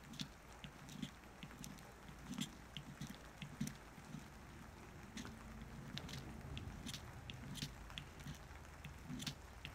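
A solid orange-tan bar of soap held on paper is carved and scraped with a small wooden-handled carving knife. A steady series of quiet, crisp scraping and cutting clicks with bright, short ticks sits over a soft low rumble. Each cut dies away quickly.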